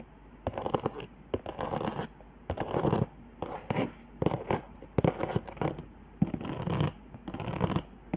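Long nails scratch across the raised hot-glue lines and dots on a flat cardboard board, making short bursts of rough, dry scraping. Each burst is broken up by quick sharp clicks, with pauses between them. The sound is mostly low and mid in tone, with very little brightness.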